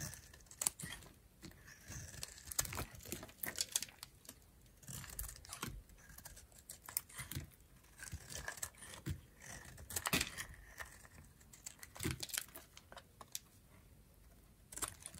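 A pink, dried bar of soap is held in the hand while a metal utility knife blade scrapes and shaves thin flakes off its surface. Dense, dry scraping and crisp crackling bursts repeat throughout the clip, bright and brief with almost no ring.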